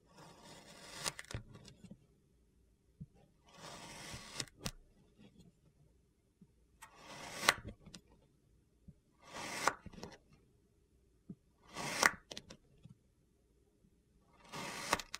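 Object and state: Kinetic sand being cut.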